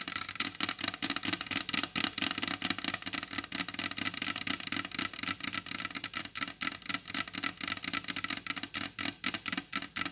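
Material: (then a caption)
Wood. Long blue acrylic nails tap fast and continuously on the glossy varnished top of a large solid wooden table, about 37 quick taps in ten seconds. Each tap is a sharp, bright click with almost no ring and a faint hollow tone near 285 Hz.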